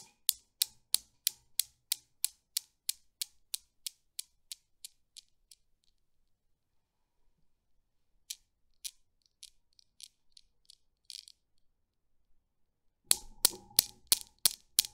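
A small chrome Newton's cradle with solid steel balls, set swinging by hand, knocks out a run of sharp, bright clicks that come quickly at first and fade to a stop over about six seconds. A few quieter, irregular taps follow, then the cradle is set going again with a burst of loud, rapid clicks.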